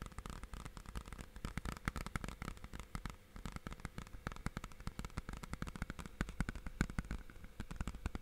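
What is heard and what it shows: Fingertips tap rapidly on the front face and then the edge of a hollow, clear plastic DVD or game case with a printed cover, held in both hands. The result is a quick, continuous stream of short, dry plastic clicks that stop almost at once, with a deep, hollow thump underneath and little high brightness.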